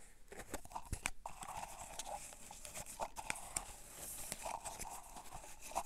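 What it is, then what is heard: Plastic cotton swab container. A clear plastic tub full of cotton swabs is rotated, tapped and scratched with fingertips and nails. Quick, dry clicks and taps with a hollow plastic ring sit over steady scratchy rustling, with a bright, crinkly edge throughout.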